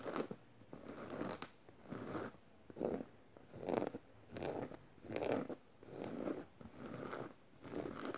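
A black fabric tote bag with rows of metal studs, lying flat on purple fleece, is scratched with medium-length red-painted nails and fingertips across the fabric and studs, while a beaded bracelet on the wrist may add faint clicks. About nine short, dry, scratchy rasping strokes come in a loose rhythm, each a midrange swish with a bright hiss, separated by brief quiet pauses.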